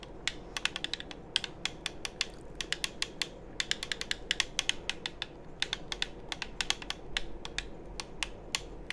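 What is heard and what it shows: A hollow black plastic game controller is held near the mic while fingertips tap its shell and click its buttons. Dozens of quick, dry, bright clicks come in irregular bursts with almost no ring. A steady low hiss and rumble sits underneath.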